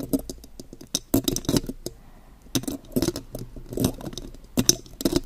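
Long, pointed gold metal claw nails tap and scratch across the mesh grille of a silver metal condenser microphone. The result is an irregular run of sharp, bright clicks and brief scratchy rasps with very short decay, broken by a few quieter pauses.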